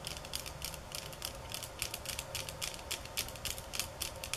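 Long fingernails tap on bamboo sticks at varying speeds and intensity, from soft and slow to fast and hard. The result is a rapid, uneven stream of short, dry, bright clicks that die away almost instantly, over a faint steady low rumble.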